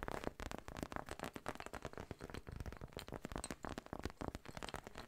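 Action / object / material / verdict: scrape / textured fabric zip pouch / fabric / none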